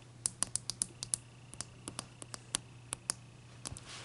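Long dark nail tips tap and scratch the top and front face of a large, clear, solid ice block resting on a towel. Eighteen sharp, bright, quiet clicks land in an uneven rhythm, each dying away at once, over a faint low hum. The clip ends with a soft, hissy scrape.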